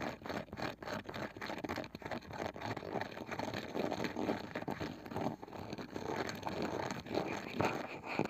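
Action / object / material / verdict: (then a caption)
scrape / small round wooden box with a woven side / wood / none. Long nails scratch the pale wooden lid of a small, palm-sized round wooden box with a woven, ridged side, then fingertips tap on it. The result is a steady, close, dry rasp of scratching broken by quick, soft, woody taps that die away almost at once, with mostly mid-range tone and little deep or bright content.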